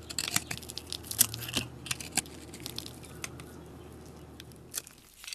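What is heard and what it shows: A metal blade shaves the scored surface of a solid blue soap bar held in hand, curling it into flakes. Crisp, bright scraping and crackling strokes come in irregular bursts with sharp ticks, over a faint low hum. The sound settles into quieter rasping before a few final scrapes.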